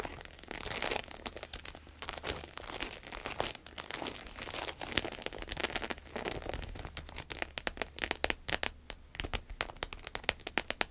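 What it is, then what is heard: Croc-embossed vinyl wallet. A red glossy croc-embossed vinyl wallet resting on a table is scratched across its textured surface with long acrylic nails. The result is a dense stream of bright, dry crinkling scratches and sharp clicking taps that decay almost instantly. Toward the end, the taps become more spaced out.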